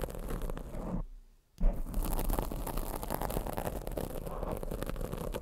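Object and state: Foam microphone windscreen.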